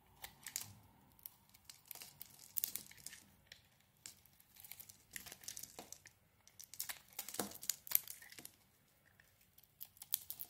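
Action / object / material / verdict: scrape / bar of soap scraped by a knife blade / soap / none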